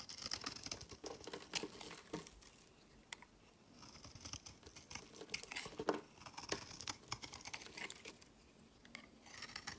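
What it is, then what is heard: Soap bar being carved. A metal utility-knife blade scrapes along the edge of a palm-sized, solid white bar of soap held in the hand, shaving off crumbly flakes. The sound is a dense run of crisp, bright scraping and crinkly ticks, with short quiet gaps between strokes. Each stroke is dry and fades almost instantly.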